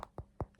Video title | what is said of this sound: ✨ My AMI AMIS Collection! ✨ | if I tap it, you can hear it's harder. And then that bit's softer.